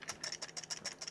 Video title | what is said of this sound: Yobo NES Game Console | it does feel really cheap, and it sounds cheap there.